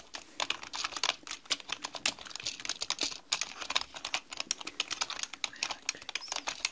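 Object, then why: Mechanical computer keyboard with plastic keycaps. Both hands type continuously on a black mechanical computer keyboard with plastic keycaps, striking the keys with long nails and fingertips. The result is a rapid, uneven stream of sharp, bright plastic clicks and clacks. Each click is very short and crisp, with almost no low end.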